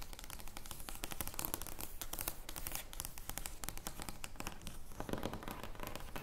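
An oversized thin cardboard joker playing card lies flat on a wooden table while long blue nails scratch and tap across its surface. The result is a continuous run of dense, crackly scratching with many quick taps, dry and short-lived, reaching up into bright, high hiss.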